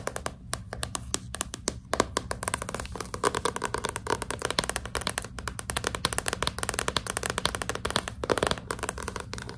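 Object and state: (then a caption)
Hardcover book cover tapped with nails. Long pink nails tap quickly and continuously on the glossy cardboard front cover of a hardcover book held upright. The result is a dense stream of short, dry, bright clicks that stop almost instantly, over a steady low background hum.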